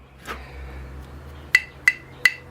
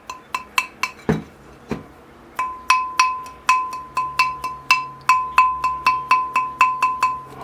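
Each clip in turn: First: ceramic bonsai pot that does not ring. Second: ceramic bonsai pot that still rings when tapped.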